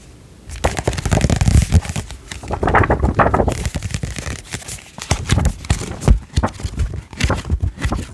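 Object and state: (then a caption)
Paperback picture book. Fingertips and nails tap on the glossy card back cover of a thin softcover children's picture book, "Nail Polish Stew," then on the front cover as the book is turned. The result is a dense run of quick, crisp tapping with a soft papery crinkle, mostly low-pitched and with little ring.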